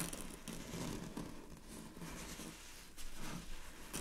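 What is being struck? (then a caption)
Thin chiffon fabric. Long fingernails scratch across draped, thin, sheer purple chiffon fabric, making a soft, continuous scratchy rustle with a bright hiss. It swells and fades in uneven strokes over a low, muffled rumble.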